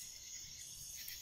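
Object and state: Nothing is struck.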